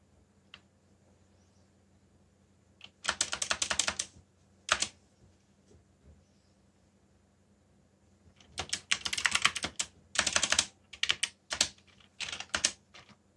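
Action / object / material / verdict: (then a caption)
tap / plastic mechanical keyboard / plastic / none. Fingertips with short nails press and tap the keys of a backlit, full-size black plastic mechanical keyboard with Korean legends while typing. Rapid bursts of bright, clacky keystrokes come in uneven clusters separated by short pauses, with a few isolated taps in between. A faint low hum sits underneath throughout.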